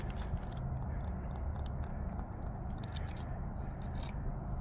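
Fingertips and nails tap and scratch the rough surface of a large, solid natural rock outcrop outdoors, patched with moss and lichen. A steady low, rumbling scrape runs throughout, broken by brief, bright scratchy clicks from the nails.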